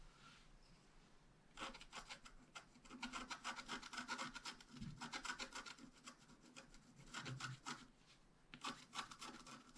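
A wooden stylus scratches the basket flowers and grass into a flat wax-coated scratch art paper sheet, held down by one hand. After a quiet start, bursts of quick, dry scratching strokes come in fast, uneven runs with short pauses. The rasping sound is soft and bright, with a papery hiss.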